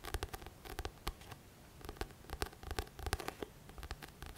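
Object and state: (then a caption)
Paperback book cover tapped and scratched. Fingertips tap and scratch the glossy card back cover of a thick paperback book. The result is a quiet, irregular run of short, dry taps with brief scratchy rustles between them.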